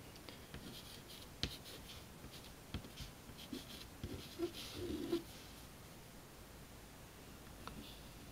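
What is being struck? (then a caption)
Chalk stick on a chalkboard. A hand writes words in short strokes on a flat, solid black chalkboard with an orange chalk stick, scratching and tapping the chalk against the board. Soft, bright scratching runs beneath seven sharp taps, with a brief low tonal squeak in the middle of the clip.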